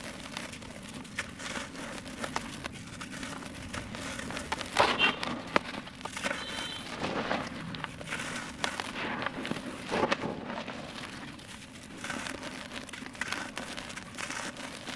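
Bare hands scoop dry red-brown dirt clods and loose soil in a teal plastic bucket, crumbling them and breaking a large solid clod. Dense, irregular crackling and gritty rustling fill the clip as the grains fall back in, with a few sharper snaps around the middle.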